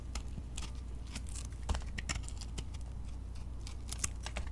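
A metal blade cuts crumbly pieces off a solid, flaky beige soap chunk that is partly coated in glitter. Dry, crisp scraping and crunching bursts come in quick succession over a low, steady hum.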